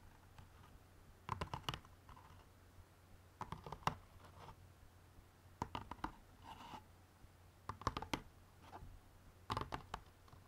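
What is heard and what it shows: Fingernails tap on the outer side walls of an open white cardboard jigsaw puzzle box bottom holding a bagged puzzle. The result is quick, dry, hollow clicks in five separated bursts, each with a mid-toned knock and a faint papery scratch. A low hum sits underneath throughout.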